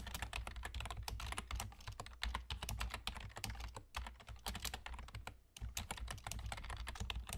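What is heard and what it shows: Fingertips with short nails rapidly tap the hollow keys of a full-size black plastic computer keyboard with German key labels, typing with both hands. The clicks come in quick, irregular bursts of bright, sharp taps over a steady low hum, with a brief near-silent pause just before the fast typing resumes.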